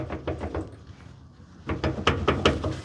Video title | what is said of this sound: My Defender Is Back! | it doesn't move this way, but it does clunk going this way.